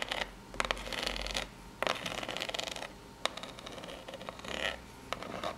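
Long pink nails scratch across the ridges of a small corrugated cardboard box. Bursts of dry, raspy scratching rise and fall, punctuated by sharp, bright clicks where the nails catch the ridges, with brief quiet gaps between strokes.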